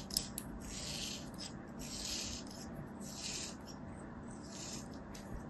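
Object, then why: Kinetic sand ball scraped with a thin metal blade. A thin metal blade scores and scratches lines into a hand-sized solid ball of beige kinetic sand held in one hand, carving a crosshatch pattern across its surface. Repeated soft scraping strokes produce bright, gritty hissing over a faint low rumble, forming a steady, quiet texture.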